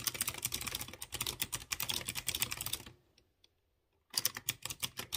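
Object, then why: Mechanical keyboard with round metal keycaps and clicky switches. Fingertips type rapidly on a light blue plastic mechanical keyboard with round chrome keycaps over clear-housed blue switches, producing a dense run of bright, crisp clicking taps. The typing stops for about a second of near silence, then resumes in another quick burst of sharp key presses.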